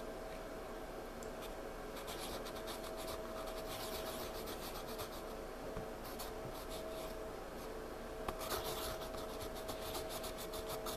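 A pencil scratches and shades in small, quick strokes on a spiral-bound paper sketchpad lying flat. Soft, bright scratchy rasps come in uneven bursts over a quiet, steady background with a faint low hum throughout.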